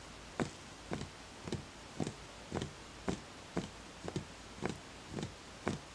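A fingertip taps eleven times on the outer side of a small, empty, hollow wooden bowl at a slow, slightly uneven pace. Each tap is a soft, hollow knock with a low-mid body, a faint bright edge, and a very short ring. A steady low background hiss sits between the taps.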